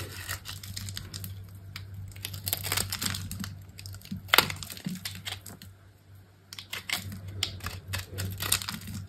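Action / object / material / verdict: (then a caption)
scrape / bar of soap scraped with a metal blade / soap / none. A metal box-cutter blade scrapes and cuts crumbly shavings from the edge of a solid green bar soap held by a hand with long pink nails. Dense, bright, crinkly scraping bursts run over a steady low hum, with a sharp loud crack near the middle. The scraping fades to a brief lull before picking up again.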